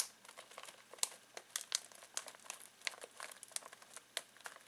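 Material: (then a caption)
Foil plastic. Fingertips scratch and crinkle a full foil-plastic snack bag of pistachios, giving a steady run of sharp, bright crackles and rustles. The crinkles are quick and dry, with almost no low end and no lingering ring after each one.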